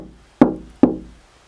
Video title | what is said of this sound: CGPENT™ 2014 | it doesn't really have a a long vibration period like it dies really really quick